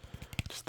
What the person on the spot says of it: I really like how this sounds. Just the plastic tapping.